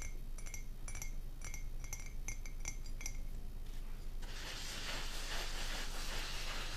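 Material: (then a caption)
Ceramic. An empty, hollow white printed ceramic coffee mug, held in both hands, is tapped with long painted nails, giving a quick, irregular run of light, bright clinks over a low steady hum. After about four seconds the taps stop and a soft, broad rustling hiss takes over until the end.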